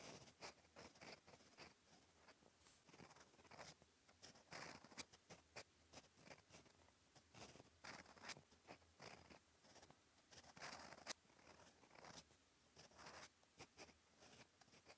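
A steel fountain pen nib scratches across a flat, cream, lined paper notebook page while writing. Quiet, dry, bright scratching comes in quick, irregular strokes with tiny pauses between them. Each stroke stops dead with no ring, and there is little low end.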